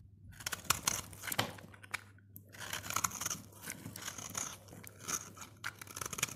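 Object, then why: Bar of soap scraped with a blade. A snap-off utility blade scrapes and shaves flakes from the face of a solid, dry orange soap bar held in the fingers. Bursts of bright, crunchy scraping alternate with sharp, quick crackles and brief pauses. The sound stays dry and high with little low end.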